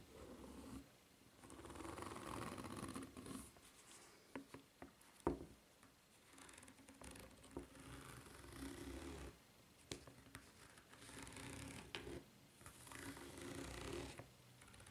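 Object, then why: Rubber flip-flop sole. Long nails scratch along the side edge and ridged sole of a white rubber flip-flop, making soft, breathy scraping strokes in repeated bursts. Occasional sharper clicks and taps cut through the low, rough rustle.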